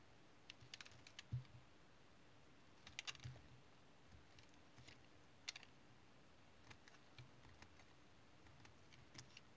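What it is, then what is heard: Bar of household soap being scraped. A solid rectangular chunk of brown household soap is held in one hand while a small metal knife scrapes its edge into curls. The repeated scraping and cutting comes through as a series of short, crisp, bright scratches and clicks, each dying away almost instantly, scattered irregularly over a low, steady background hum.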